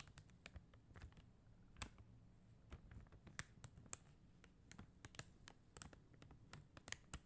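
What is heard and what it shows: Long acrylic nails tap and scratch across a flat plastic rhinestone sticker sheet covered in faceted plastic gem stickers. About nineteen quiet, sharp clicks stand out, each with a bright tick that dies away almost instantly. Soft scratching and a low murmur fill the spaces between them.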